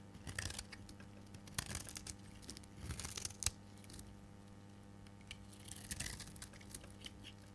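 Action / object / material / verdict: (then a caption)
scrape / bar of soap shaved with a blade / soap / none. A solid, rectangular, dark green bar of dry soap is held in the hand and shaved with a metal blade into pale green curls. Soft, crisp scraping and crumbly crackling come in short bursts, with one sharp snap partway through, over a faint steady low hum. The overall level stays quiet.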